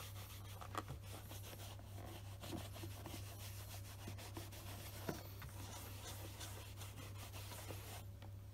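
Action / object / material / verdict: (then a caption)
scrape / leather shoe rubbed with fabric cloth / leather / none. A black polished leather Scotch Grain wingtip shoe, held on a desk mat, is buffed with a beige stocking cloth wrapped over the fingers. The fabric rubs over the glossy leather in a soft, continuous swishing with a few faint brighter scuffs, over a steady low hum.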